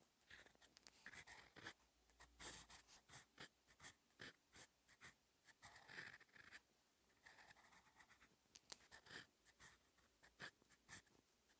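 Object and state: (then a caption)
Paper notebook page being written on. A steel TWSBI Eco EF fountain-pen nib scratches across a cream Dongbaek Retorika paperback notebook page with an orange grid, lying flat, while writing Korean letters in orange ink. Short, bright, papery scratches come in quick bursts of strokes with brief pauses between them, at a quiet level.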